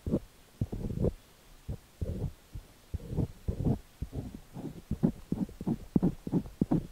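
A thin metal ear pick with a white handle scratches and pokes inside the ear canal of a cream, solid soft silicone dummy-ear microphone on a tripod, held steady with one hand. It produces a series of dull, muffled, low-pitched thumps and scraping bursts, close and throbbing like a heartbeat, with short pauses between them and no bright edge.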